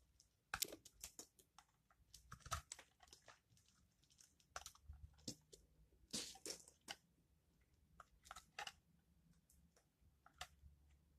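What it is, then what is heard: Charcoal soap bar being carved. A utility knife blade carves and scrapes the textured surface of a solid, palm-sized black charcoal soap bar held in the fingers. Quiet, crisp crunches and bright scraping cuts come in a series of short, sharp bursts that stop dead between strokes.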